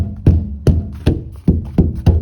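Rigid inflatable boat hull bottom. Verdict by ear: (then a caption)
Solid. A hand knocks repeatedly on the bottom of the hull of an upturned Mercury 270 rigid inflatable boat, producing a series of low, dull thuds with a short ring. The hull bottom sounds solid, its rigidity credited to the flat floor inside.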